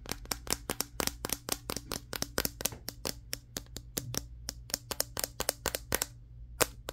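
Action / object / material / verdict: tap / smartphone with matte glass back / glass / none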